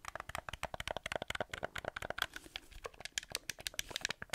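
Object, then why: Hollow plastic game controller shell and buttons. Fingertips and nails tap and scratch the shell and buttons of a hollow black plastic PlayStation-style gamepad held in both hands in front of the mic. The result is a rapid, irregular run of short, dry, clicky taps with bright, crisp edges and faint scratching between them. Each tap dies away almost instantly, leaving no ring.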